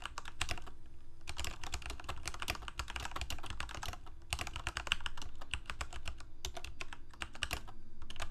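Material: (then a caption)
Plastic. Fingertips of both hands type on a Corsair K68 full-size mechanical keyboard with plastic keycaps, Cherry MX Red switches and a backlight, resting on a desk. The result is a dense, steady clatter of short, dry key clicks with a low thump underneath, broken by brief pauses near 1.2 and 4.3 seconds.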